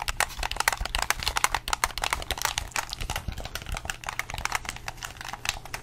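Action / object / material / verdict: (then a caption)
tap / plastic game controller / plastic / none. A hollow red plastic gamepad, held in both hands close to the mic, has its buttons and triggers pressed and clicked with fingertips and thumbs. The result is a rapid, uneven run of short, dry, bright plastic clicks and taps with almost no ring, over a faint steady low hum.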